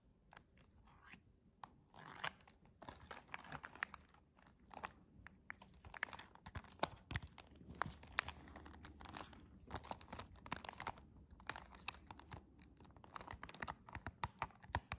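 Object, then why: Cardboard box with plastic window. Long jeweled fantasy press-on nails tap and scratch a flat, rectangular, silver embossed Liqinail cardboard press-on nail box with a clear plastic window, held in gloved hands. Quiet, dry, crisp clicks and scratchy crackles come in a dense, uneven stream. Each tap stops instantly, with bright edges over a faint low rumble.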